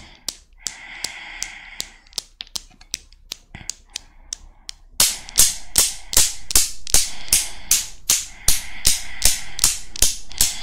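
A desktop chrome steel Newton's cradle with five solid chrome balls is set swinging by long black nails, and the steel balls knock together repeatedly in sharp, bright metallic clicks. The first half has softer, spaced clicks over a faint ringing tone. Then the knocks turn louder and settle into a steady rhythm of about two and a half per second, each with a very short ring.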